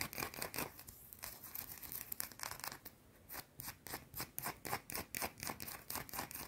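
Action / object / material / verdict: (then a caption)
scrape / round bar of soap scratched with fingernails / soap / none. A small, solid, round white bar of soap held in both hands is scratched fast with long blue-painted nails. Dry, bright, scratchy rasps come in quick bursts, dipping quieter around the middle before settling into a steady run of short, evenly spaced scrapes.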